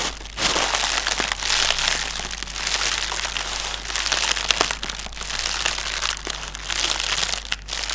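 A strip of connected, hollow, air-filled plastic air-pillow packaging cushions lying on a table is tapped and scratched with the fingertips of both hands. It makes a steady, bright crinkling and rustling, dotted with quick, sharp taps that die away almost at once, with very little low end.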